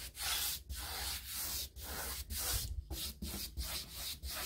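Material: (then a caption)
Hardboard. A hand-held paintbrush rubs and scratches across the flat stile beside a raised panel of a six-panel molded hardboard interior door, likely hollow core. Bright, scratchy bristle strokes sweep back and forth over a faint low rumble, broken by brief quiet gaps between strokes.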